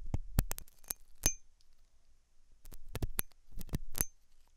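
A hooked metal dental tool scratches inside the ear canal of a white translucent silicone ear model, likely fitted on a binaural ear microphone. Sharp, close clicks and brief scratches come in clustered bursts, with low thumps from the soft solid rubber and faint bright metallic pings.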